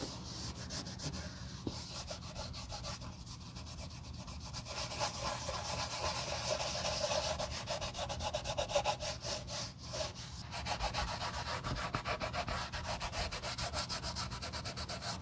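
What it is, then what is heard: Leather shoe being polished. A gloved hand holds a re-dyed brown Josef Seibel leather sandal, part of refurbishing old leather shoes, while a cotton cloth wrapped around the fingers rubs and polishes the leather surface. The rapid back-and-forth strokes, about three to four per second, make a steady, bright swishing hiss over a low background hum. The rubbing grows slightly louder and denser toward the middle of the clip.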